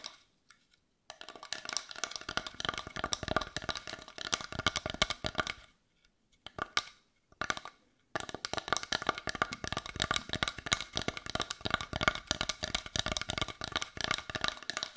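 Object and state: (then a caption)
Carved wooden heart tapped with fingernails. A palm-sized brown carved wooden heart with a rough, grainy surface, which looks solid, is held in both hands and tapped with long white nails. Rapid, dense, dry clicking taps with a bright edge and almost no ring come in long bursts, broken by two brief pauses around the middle.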